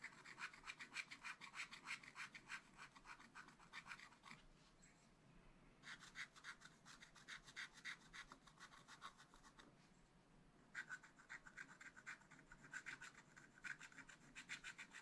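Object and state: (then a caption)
Scratch art paper being scratched. A wooden stylus scratches a black coated scratch paper page in a small spiral pad while colouring in the shapes. Quick, bright, rasping strokes come in three steady bursts, separated by two short pauses of softer, quieter scratching.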